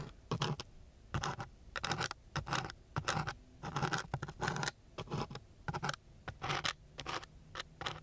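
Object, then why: Sandpaper sheet scratched by a wooden stick. A thin wooden stick scratches back and forth across the gritty surface of a coarse brown sandpaper sheet. The sound is a series of short, rasping scrape bursts with bright, hissy grit noise and a low body, separated by brief quiet gaps at an uneven rhythm.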